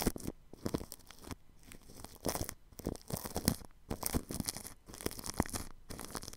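A paintbrush brushes across plastic cling film wrapped over a ball microphone's grille, making dense, close crinkling and scratchy swishes. The strokes come in quick bursts separated by short near-silent gaps, with bright crackle above a soft low rumble.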